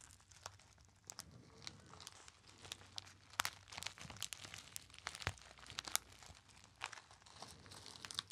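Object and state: Foil pouch crinkled.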